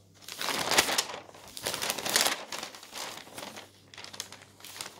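Thin pages of an open newsprint newspaper, held close, are turned and handled with the fingers. The result is bright, crisp crinkling and rustling in several swelling bursts, with little low end.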